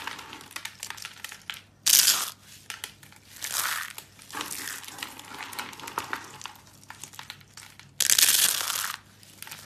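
A small rose of thin, tightly coiled dry blue soap shavings, hollow in the centre and surrounded by loose pink soap flakes, is held in both hands and crushed and squeezed with the fingertips. It makes a dense stream of bright, dry crinkling and crackling, with two louder crunching bursts about two seconds in and near the end.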